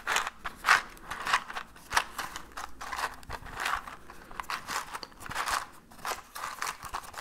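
A small orange cardboard matchbox with matches inside is held in one hand and shaken. It gives quiet, dry rattling bursts of the matches inside, an irregular run of short crackly shakes centered in the mid-range with some high hiss. Each burst fades almost at once, with little low end.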